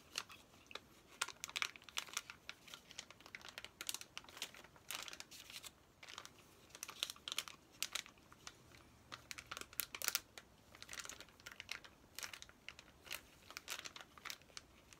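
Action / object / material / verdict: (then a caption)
scrape / plastic-wrapped paper activity pack / plastic film / none. A flat, plastic-sealed Trolls paper activity play pack is held up while fingertips and nails scratch and crinkle its plastic wrapping. Quiet, bright, dry crinkles and crackles come in rapid irregular bursts with almost no low end, each snapping off instantly.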